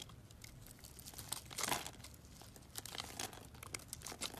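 A box-cutter blade scrapes cubes off a grid-scored solid pink soap bar. It makes dry, bright, crumbly scraping and crinkling sounds with a fuller scrape near the middle, followed by a run of short, crisp flicks as the pieces break away.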